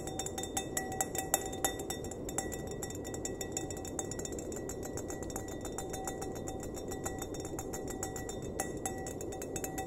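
An empty, clear glass wine glass, held upside down by its base, is tapped on its hollow bowl with fingertips and nails, producing a quick, steady run of light clinks. Each tap gives a short ring near 770 Hz with bright, high overtones over a constant low, noisy background.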